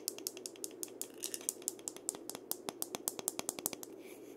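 Fingertips rub and scratch along the slender wooden handle of a single gourd maraca held horizontally. The result is a quick, uneven run of about thirty short, dry, bright scratching ticks, each dying away almost instantly, over a faint steady background hiss.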